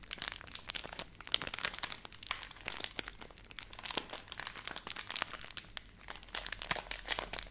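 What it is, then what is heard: Plastic milk powder pouch. A filled Nestle Everyday laminated plastic milk powder pouch is held in both hands and crinkled and scratched with long nails. Dense, bright crackling and crinkling comes in quick, sharp bursts with almost no low end. The rustle runs continuously and evenly throughout.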